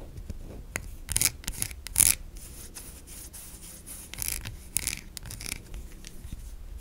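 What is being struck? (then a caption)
Bar of soap. A solid white bar of soap held in the hand is scratched and scraped with long nails, leaving soap shavings. The clip has dry, bright rasping strokes with louder scraping bursts over a quiet background.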